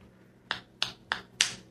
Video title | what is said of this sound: The Barbie movie and Ken's bump. | That did not crack, and it sounded like it cracked.